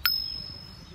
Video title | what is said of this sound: [Yo-Yo] YoYoFactory – ROCKstar Review by TokYo-Yo | when you flick it it sounds really cool as well